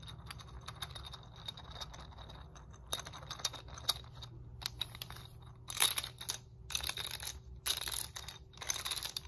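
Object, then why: Hard plastic segmented roller stick. Fingernails tap and scratch along the red rollers of a segmented hard plastic muscle roller stick with black foam handles. Quick, bright clicky taps give way to louder scratchy bursts in the second half, with a bright tone near 3.8 kHz and a faint low hum underneath.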